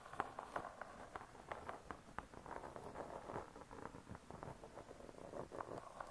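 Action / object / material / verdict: tap / laminated board cookbook cover / laminated board / none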